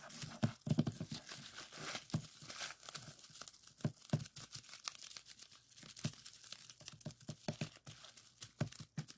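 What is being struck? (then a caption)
Plastic bubble wrap sheet. Fingertips press and pop the bubbles on a clear plastic bubble wrap strip lying on a table, sliding along the sheet between pops. Many quick, sharp snaps stand out over a steady crinkling, rustling bed of plastic noise with dull low thuds underneath, each pop dying away almost instantly.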